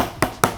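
Two quick taps on the Metalbone Ctrl padel racket, whose core rubber has lower density and slower recovery, give the soft racket's sound in contrast to the standard Metalbone. Each tap is a short, dull knock with a brief tone around 1.3 kHz that dies away almost at once.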